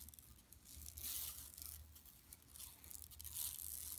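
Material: Woven plastic.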